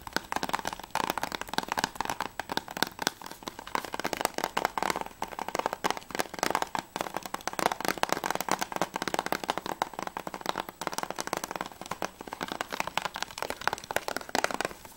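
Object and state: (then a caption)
Plastic game case tapped with nails. Long nails tap rapidly on the back cover of a closed, hollow plastic PS3 game case for ICO. The result is a continuous stream of quick, crisp plastic clicks with a bright midrange tone, almost no low end, and no lingering ring.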